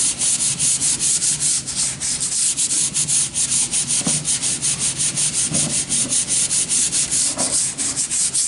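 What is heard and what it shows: A sanding sponge is rubbed in repeated strokes along a long, thin, solid wooden plank. Each stroke makes a dry, bright scratching hiss, and the strokes blend into a steady, rhythmic rasp at a brisk pace. Faint low squeaks surface now and then beneath the hiss.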